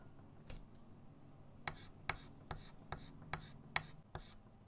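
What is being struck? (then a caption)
Chalk stick on a small wooden-framed chalkboard. Fingers holding a short chalk stick make short scratching and rubbing strokes on a bird drawing on a small flat chalkboard in a wooden frame resting on a table. Nine quick, quiet strokes are heard at an uneven pace, each a brief, bright, dry scratch that stops almost at once, over a steady low hum.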